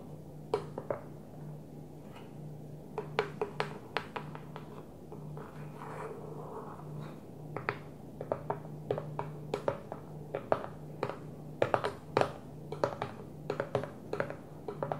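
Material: Plastic.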